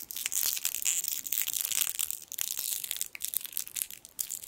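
A small gold foil sweet wrapper has its twisted end pulled and crinkled with the fingertips above the microphone. A dense, continuous crackle of sharp, bright crinkles fills the clip, with almost no low end and only brief dips between bursts.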